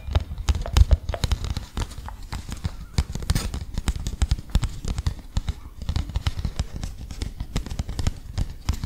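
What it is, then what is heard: Paper leaflet. A small, thin, folded printed paper leaflet is held in front of the microphone and rubbed, tapped and flicked with the fingertips. The result is a dense, steady stream of soft, dry tapping and rustling, heavy in low thumps, with brief bright crackles that die away almost instantly.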